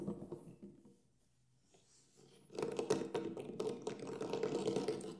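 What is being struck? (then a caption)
Frame drum with synthetic head. Fingertips tap on the black synthetic head of a large hollow Remo Buffalo frame drum lying flat with the head facing up. A few soft taps fade into a near-silent pause, then a quicker, louder run of dull taps follows, each with a short mid-pitched thump that dies away almost at once.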